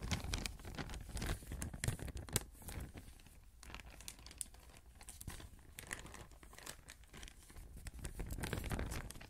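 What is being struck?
Thin plastic bag.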